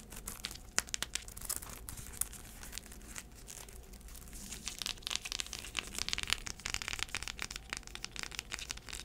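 Long acrylic nails scratch and tap the tan insole and braided straps of a black braided heeled sandal, making dense, bright crinkly scratching with sharp clicks, louder and busier in the second half. The braided sandal held up.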